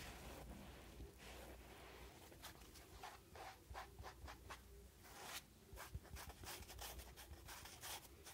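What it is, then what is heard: Foam kitchen sponge with scouring pad. A hand-sized rectangular kitchen sponge, soft porous yellow polyurethane foam with a green abrasive scouring layer, is held in one hand and scratched and rubbed with the fingertips of the other. Quiet, dry scratching and rubbing comes in short, bright bursts over a steady low hum.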